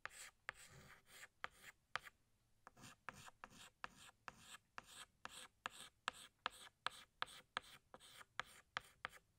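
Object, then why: Chalk stick on a blackboard. A yellow chalk stick rubs over a flat black chalkboard, thickening outlines in about 21 short back-and-forth strokes. Each stroke is a dry, bright scratch that starts with a sharp tap, with quiet gaps in between.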